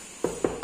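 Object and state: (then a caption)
Loose wall tile. Ceramic wall tiles near a back door are tapped three times, each tap giving a short, hollow, mid-pitched knock with almost no ring. The tiles are loose and not bonded to the wall, and one would fall off if pushed.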